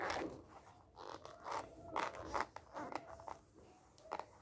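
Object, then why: Glossy paper magazine. Fingertips press the cover of a white-covered glossy paper magazine flat on a stack, then lift and flip its glossy pages. The pages rub, crinkle and flap in quiet, crisp bursts centered in the midrange with brief bright edges. Each sound stops almost at once, with no ring.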